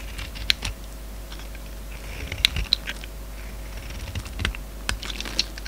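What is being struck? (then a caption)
Soap bar shaved with a steel blade. A steel utility-knife blade shaves curls off a hand-sized, solid oval orange soap bar with a silver glitter rind, held in the palm. Irregular, crisp, bright scraping clicks and short shaving strokes sound over a low, steady hum.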